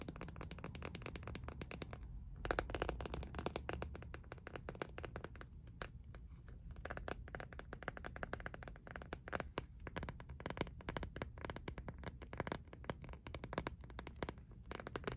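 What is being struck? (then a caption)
Plastic phone case with ribbed back. Long nails rapidly tap and scratch along the ridges of the ribbed back of an empty, clear, iridescent plastic phone case. The result is a dense, steady stream of quick, dry clicks mixed with raspy scraping that continues for about fifteen seconds.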